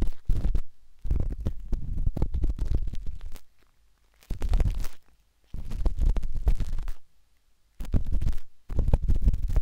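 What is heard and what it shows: A metal-tipped dot stick with a wooden handle scratches inside the soft, hollow canal of a pinkish-white silicone binaural microphone ear. The result is bursts of deep, muffled rumbling scratches, heavy in the low end, separated by short silent pauses.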